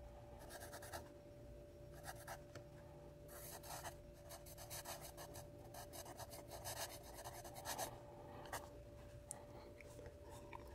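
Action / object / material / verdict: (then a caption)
scrape / graphite pencil on paper notepad / paper / none. A sharpened yellow wooden graphite pencil writes cursive words on a small lined paper spiral notepad held flat on a wooden table. Quiet bursts of bright, dry scratching come as the pencil moves across the paper surface, over a steady low hum and a faint constant mid tone around 660 Hz.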